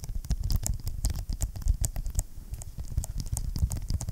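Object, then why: Vinyl-covered ring binder. A large closed blue vinyl-covered ring binder with a hard board inside, held upright, is tapped and scratched by fingertips and short nails on its cover. The result is a steady run of dull, deep, short thumps with quick bright scratchy ticks on top.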